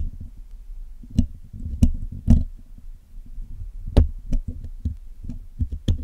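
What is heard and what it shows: Steel tweezers and a steel pick scratch and pick at the top of the black, hollow metal mesh grille of a Blue Yeti microphone. A close, low, rumbling scrape runs throughout, broken by a string of sharp, bright clicks and taps that stop dead with almost no ring.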